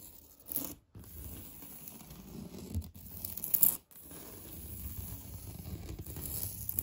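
Painted fingernails scratch across the bumpy surface of a solid, beige, knockdown-textured painted drywall interior wall. The result is a low, rough scraping with a faint high hiss, broken by two brief silences before the strokes pick up again and build toward the end.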